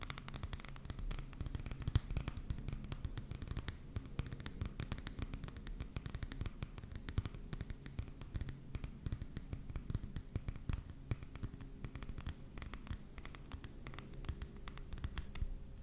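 Rapid, dry nail taps and scratches on a glossy paperback cover, over a steady low hum.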